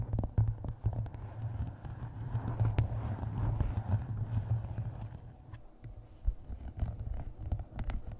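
A closed, solid hardcover book with a paper map printed on its cover is held against the microphone while long nails tap and scratch across the cover. The sound is a dense run of close, dull taps over a deep, rumbling low-frequency thud, with quick, dry scratches between the hits.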